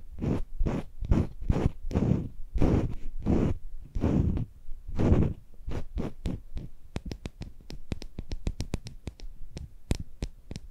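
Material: Silicone.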